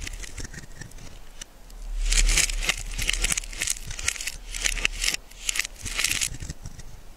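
A hand-held, solid cream-colored bar of soap has its face and edge shaved and scraped with a small metal blade, producing dry, crumbly shavings. Bright, crackly scraping comes in several swelling bursts with quick, sharp ticks, over a faint low rumble.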